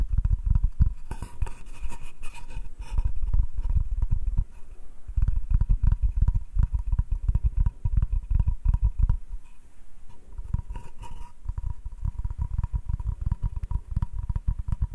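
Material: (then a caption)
Wood. Fingertips and nails of both hands tap and scratch the flat face of a solid wooden cutting board with rounded corners. The result is a dense, continuous run of soft, deep thuds and scrapes, with short dry taps that die away almost instantly and a faint high scratching texture above them.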